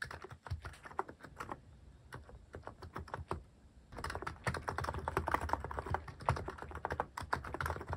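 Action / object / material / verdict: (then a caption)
tap / mechanical keyboard with plastic keycaps / plastic / none. Fast fingertip typing on a Hanmumu mechanical keyboard fitted with plastic cat-shaped keycaps produces a rapid stream of short, sharp clacks with a low, thocky body. The typing is sparser and quieter in the first half, then becomes denser and louder from about the midpoint on.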